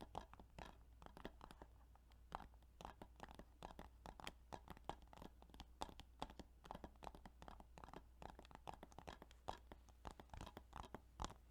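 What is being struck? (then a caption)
Plastic video game case. Fingers tap rapidly and continuously on a plastic Yu-Gi-Oh! Duelist of the Roses video game case, producing short, dry clicks with a mid-range tone around 870 Hz. A steady low hum sits underneath the quiet, closely spaced taps.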